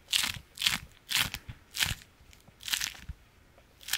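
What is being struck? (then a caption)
Beeswax-coated fabric wrap. A striped beeswax-coated fabric food wrap is folded and squeezed in both hands, giving repeated short bursts of crunchy, crackling crinkles. The sound is bright and high-pitched with little low end, and each burst fades quickly into near silence before the next squeeze.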